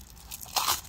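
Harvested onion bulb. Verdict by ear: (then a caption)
Woody. A harvested onion left in the ground too long, with a woody center, is handled and crunched. It gives a few dry, bright crackles that build into a louder crisp crunch near the middle. It sounds woody rather than like a normal fresh onion.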